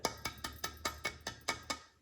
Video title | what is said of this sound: Chapter 9 Video #1 Art Encounter | you can hear that it's hollow since it's been fired